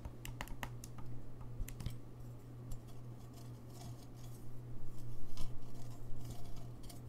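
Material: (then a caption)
Brass. Fingertips tap the keys and bell rim of a gold-lacquered brass saxophone held close in front of a microphone. Short, bright clicks and soft metallic taps come at an irregular pace, growing louder toward the end over a steady low hum.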